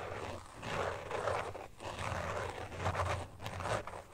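Fingernails tap and scratch across the back of a carbon fiber pattern phone case lying flat. Soft, raspy scratching comes in repeated swells, centered in the midrange with little high-end sparkle, over a faint low hum.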